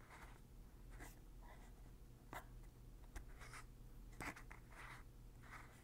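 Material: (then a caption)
Plastic. Fingertips turn and press the blue plastic pump head on a large white plastic Lubriderm lotion bottle, making repeated clicking sounds. Soft scratchy rustles alternate with a few sharper, brighter clicks over a steady low hum, all at a quiet level.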